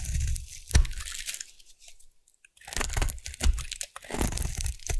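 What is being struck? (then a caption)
Bar of soap. A metal blade carves crunchy curls from a solid rectangular purple bar of soap held in the hand, giving dense bursts of crisp, crackling crunches with a low thudding undertone. The carving pauses into near silence midway, then resumes with more bright, scraping crunches.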